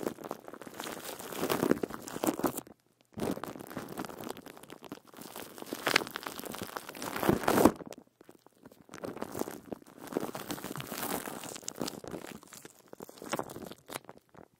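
Fingertips scratch and press clear plastic wrap stretched over the metal mesh grille of a silver microphone. Dense crinkling and crackling come in three bursts, separated by short silences. The sound is mostly midrange with little deep low end.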